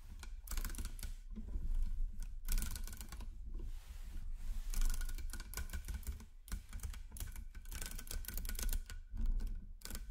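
A hand snaps a chain of solid 10 mm nickel-plated magnetic cubes and balls onto a metal magnet ring, making dense bursts of bright metallic clicks. The clicks pile up over a steady low rumble, with brief quieter gaps between bursts.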